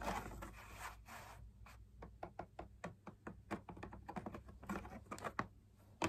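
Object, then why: Perforated fabric drum lamp shade on a stiff backing. Fingertips and nails tap the outer wall of a hollow beige drum lamp shade made of perforated fabric on a stiff backing with punched dot circles. A brief scratchy rustle opens the clip, followed by a quick, uneven run of short, dry, hollow taps over a faint low hum.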